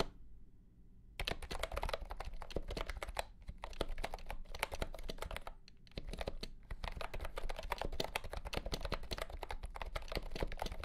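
A compact pastel green plastic keyboard with round keycaps and a hollow body, under green light, is typed on with the fingertips. A quiet hum comes first, then rapid, dense clicky keystrokes run throughout with short pauses, sounding sharp and slightly hollow with a low thump under each press.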